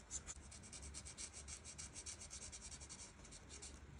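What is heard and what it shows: The felt tip of a light marker rubs and scratches back and forth over the border area of a flat paper coloring page. It makes a quiet, steady run of quick, bright, raspy strokes over a faint low hum, each stroke fading almost at once.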